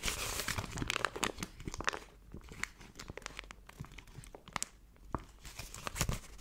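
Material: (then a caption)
Metal foil. A thin yellow-gold foil paper sheet is held in both hands and crinkled, stretched and crumpled with the fingers and long nails. Dense, bright crackling is loudest over the first two seconds, then eases into softer rustling broken by sharp crisp snaps toward the end.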